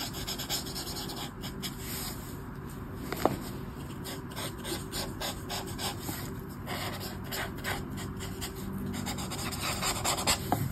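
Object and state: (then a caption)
Paper colouring book page. A black brush marker, held at the fingertips, rubs short strokes across the thin paper page of an open colouring book lying flat. Dry, scratchy strokes follow one another at a steady quiet level over a low, constant background, with a few brighter clicks where the tip catches the paper.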